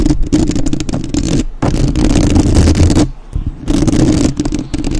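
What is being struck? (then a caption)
Metal mesh microphone grille. Long nails tap and scratch the metal mesh grille of a black, uncovered microphone, first with one hand and then with both. The result is loud, dense, bassy thumping and scraping with rapid clattering taps. The sound drops briefly just past the three-second mark before the heavy tapping resumes.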